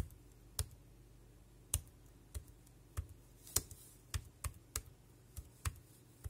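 Fingertips tap the round keys of a dark grey compact plastic wireless keyboard with a hollow casing, making ten short, sharp, bright clicks at an uneven pace. Each click dies away almost instantly over a quiet, steady low hum.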